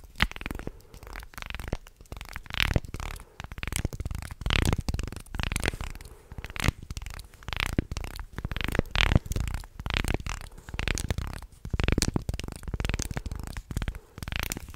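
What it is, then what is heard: Wooden segmented toy being flexed and scratched. A wooden segmented shark toy is flexed and twisted close to the mic while fingertips and nails scratch across its wooden slats. The result is a dense, uneven run of low, muffled knocks and creaks mixed with bright scratching and crackling bursts, with almost no ring between them.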